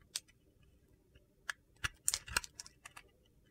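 A steel utility knife scrapes a hand-sized, solid, embossed soap bar with a blue-silver glitter coating, crumbling off brittle white flakes. About ten short, crisp, bright crunches and scrapes come at an irregular pace over a quiet background, each ending abruptly with no ring.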